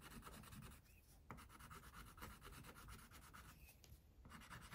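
An orange wax crayon held in the fingers is rubbed in short strokes across a tiger's face on a flat paper coloring page resting on a clipboard, while the other hand holds the sheet. The result is a soft, steady scratchy rubbing with a low rumble underneath, dipping briefly in a few short pauses between strokes.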